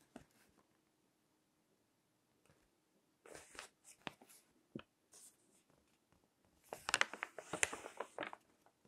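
Fingertips turn the pages of a crinkled glossy paper magazine lying on a table. Soft, bright crinkles and rustles come in short, scattered bursts with quiet gaps between them. The sound builds to a denser stretch of crackly crinkling near the end.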